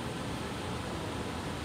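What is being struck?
Nothing is struck.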